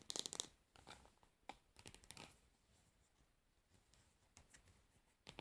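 Long nails scratch and tap the label area on the pink plastic lid of a plastic cosmetic jar lying on its side. The result is a quiet string of bright, dry clicks and scratchy rasps with no ring. The densest burst comes at the start, followed by sparser taps.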